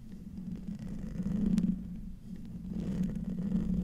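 Short nails scratch the hollow metal mesh grille of a silver condenser microphone, producing a close, muffled, rumbling scrape with a low hum centered around 180 Hz. The scratching swells to its loudest around the middle, dips briefly, then picks up again with a sharp faint tick before continuing to the end.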